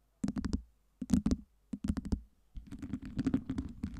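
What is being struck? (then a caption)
Acrylic plastic ice cubes. Long nails tap and scratch a stack of clear acrylic fake ice cubes with colored LEDs, shifting the cubes against each other. Quick, dry plastic clicks come in rapid clusters with short pauses between them, and the last stretch is a longer run of busy tapping and scraping. The clicks have a low, hollow body and bright edges, with almost no ring after each one.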